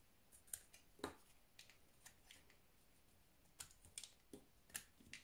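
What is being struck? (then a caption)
Soap bar. A solid white bar of soap is held in the hand while pieces are shaved off it with a utility knife. Short, crisp, bright scraping cuts come in irregular bursts over a faint, quiet background. Each cut dies away almost at once.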